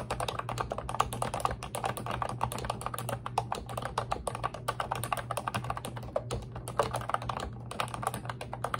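Long red nails type and tap continuously on the round white-and-pink keycaps of a pink, retro-style, hollow-bodied plastic Ubotie computer keyboard. A dense, steady stream of short, dry, clicky taps clatters in the mid range, with a faint low hum running underneath.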